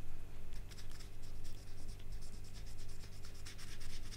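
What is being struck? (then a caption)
Banana peel scratched with a marker tip. A marker tip is scratched and rubbed over the peel of a whole, solid, ripe banana held in the fingers, working toward the middle. Soft, dry scratching strokes rise and fall in quick repeated swells, with bright hissy bursts over a steady low hum.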